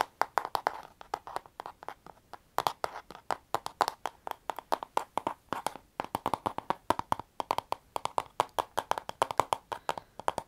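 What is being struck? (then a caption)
Plastic paddle hairbrush. Long painted nails and fingertips tap and scratch the hollow plastic back and bristles of a handheld pink plastic paddle hairbrush with a black cushion pad. About sixty quick, dry clicks come in uneven bursts. Each has a short hollow tone near 940 Hz and dies away almost at once.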